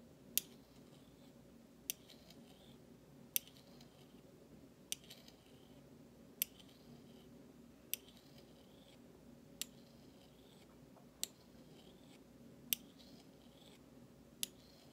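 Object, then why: Stainless steel spoon. A large stainless steel spoon bowl of thin solid metal is scraped with the handle of a flat metal utensil held in the fingers. Ten sharp, bright metallic ticks arrive roughly every one and a half seconds and die away almost instantly, with soft scraping between them over a quiet, steady low background hum.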